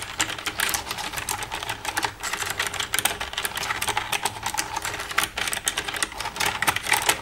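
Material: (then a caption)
Plastic. Long red-painted nails tap and type with both hands across the keys of a black plastic desktop computer keyboard with a hollow casing. A steady, rapid stream of dry, bright clicks and taps fills the clip, each one short with almost no ring.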